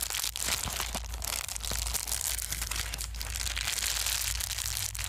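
A small folded sheet of clear plastic bubble wrap is held in both hands and squeezed and crumpled with the fingertips, popping bubbles and crinkling. A dense, bright, steady crackle fills the clip, with sharper pops scattered throughout over a faint low hum.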